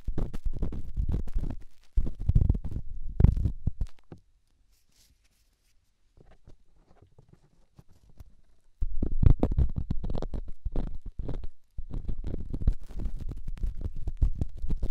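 A small, solid rough rock held in the fingertips is rubbed into the ear canal of a silicone binaural microphone ear, producing dense, deep, rumbling scratchy friction concentrated in the low end. The rubbing stops for about two seconds, returns faint and quiet for a few seconds, then resumes loud and continuous to the end.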